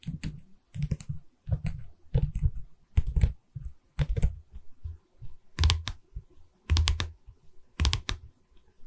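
Long red nails tap a medium, hollow pine canvas stretcher frame with a canvas back, first along the wooden side bar and then on the top edge. The taps come in quick, irregular bursts: dull, low and hollow knocks with a brief bright click on each, dying away almost at once.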